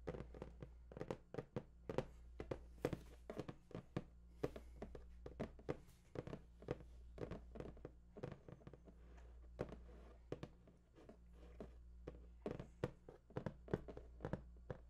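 Fingertips and nails tap and scratch across the top of a large, hollow, printed cardboard PS4 box. The result is a rapid, uneven run of short, dry, hollow taps with soft scratching between them, over a steady low hum.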